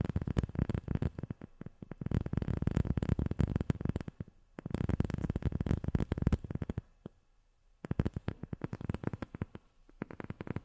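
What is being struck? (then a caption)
Rubber sheet. A rubber sheet is tapped rapidly with long fingernails, giving dull, soft, low-pitched taps that die away almost instantly. The tapping comes in dense bursts with brief pauses near the middle and again about two-thirds of the way through.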